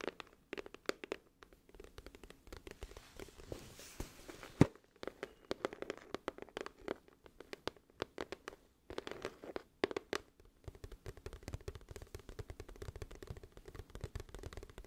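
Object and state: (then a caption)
Cardboard album case. Long nails tap and scratch near the edge of a glossy printed, hollow cardboard music album case held in one hand. The sound is a quiet, steady stream of short, dry clicks and scratchy rustles with a hollow low-mid body and little high brightness. One sharper tap stands out near the middle, and the scratching thins briefly before picking up again.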